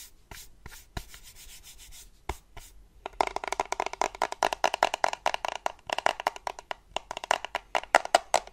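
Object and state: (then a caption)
Plastic charger. Painted fingernails scratch and tap the casing of a small, solid black plastic desktop USB charger held in the hands. Light, sparse scratching and a few taps give way after about three seconds to fast, uneven clicking taps on the hard plastic, with a dry, bright tone.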